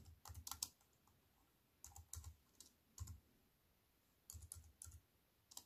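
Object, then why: Plastic keyboard with aluminium frame. Fingertips with long white nails type on a compact wireless keyboard with black plastic keys set in a thin silver aluminium frame, resting on a wooden table. Short bursts of quick, bright key clicks, each with a soft low thump, are separated by brief quiet pauses.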